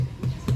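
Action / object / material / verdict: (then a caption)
tap / jackfruit / fruit flesh / ripe. A ripe jackfruit, one of four brought from the farm and the first to ripen, already soft, is tapped twice, giving two dull, low thuds around 130 Hz with almost no high content and a short ring. The deep, muffled sound marks it as ripe, and the fruit is very sweet once sliced.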